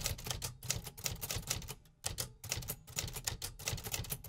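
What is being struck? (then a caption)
Metal manual typewriter. A medium-size 1950s Remington metal typewriter with a hollow casing is typed on steadily with fingertips. The result is a rapid run of sharp, bright key clacks with a low body thump under each strike, and a brief pause near the two-second mark. Each click dies away almost at once.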